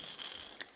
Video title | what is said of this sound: Quinn's Nursery Tour | this one actually rattles and you shake it